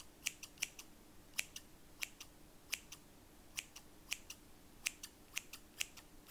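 Large stainless steel scissors with black plastic handles are held in the hand and repeatedly snipped open and shut, blade sliding on blade, while other scissors lie still in the background. About 21 quick, bright metallic snips come in loose pairs and clusters, each dying away almost at once. A faint steady low hum sits underneath.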